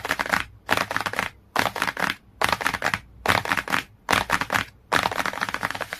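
Fingertips and nails rapidly tap and scratch the cover of a glossy cardboard hardcover book. Seven bursts of dense, bright, crackly tapping and scratching are heard, separated by short quiet gaps, with little low end.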